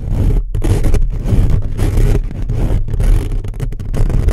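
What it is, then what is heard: Metal mesh microphone grille scratched. Short fingernails of both hands scratch fast across the hollow metal-mesh grille of a black condenser microphone. The result is a dense, continuous, boomy scraping rumble, heavy in the lows with some brighter rasp, broken by a few brief gaps.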